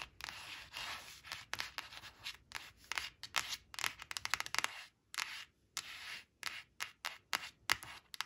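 Long acrylic nails trace and scratch over a thin coated paper flash card printed with four bananas, lying flat on woven cloth. Soft, bright rubbing strokes alternate with many quick, crisp scratches and taps, each dying away almost instantly, with short silent gaps between some passes.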